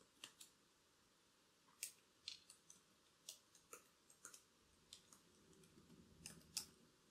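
Long black acrylic nails tap and click on the plastic keys of a laptop keyboard with a silver body. Sharp, bright, dry clicks come in an irregular, scattered series with quiet gaps between them, and each stops almost at once.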